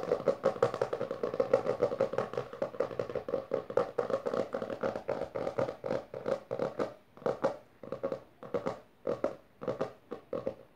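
Long dark nails tap quickly and scratch along the lower part of a closed hardcover book with a maroon textured cover resting on purple fabric. The first half is a dense, steady run of dry, short taps with a midrange tone. Later the taps thin into separate quick bursts with brief quiet gaps between them.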